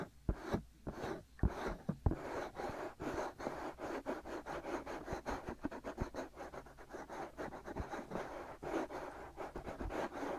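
Fingertips and short nails scratch steadily on the hollow white silicone ear pieces of a binaural microphone. The result is a dense, continuous run of soft, dull scratching and rubbing, mostly low and midrange with little brightness. A few sharper clicks stand out in the first couple of seconds.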